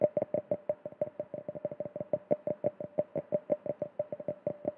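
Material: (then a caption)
Glass. A small, clear, empty hollow drinking glass held close to the microphone is tapped rapidly with fingertips and nails, about 31 times in under five seconds in an uneven rhythm. Each tap gives a short, bright knock with a ringing tone around 600 Hz that dies away almost at once.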